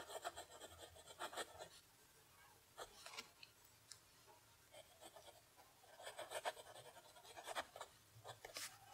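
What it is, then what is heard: Pen nib writing on lined paper. A steel-nib fountain pen held in the fingers writes cursive on a flat sheet of lined notebook paper lying on a desk. Its nib scratches across the paper in bright, dry strokes, with bursts of writing separated by short quiet pauses.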